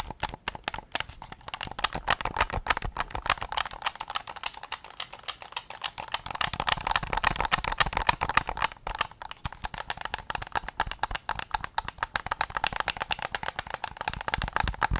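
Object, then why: Plastic game controller shell. Fingertips tap rapidly on the rear shell of a white PS5 controller made of hollow plastic, producing a dense, uneven stream of short, dry clicks. The taps have a hollow midrange knock near 900 Hz with bright edges and almost no ring, and they grow slightly busier and louder in the middle of the clip.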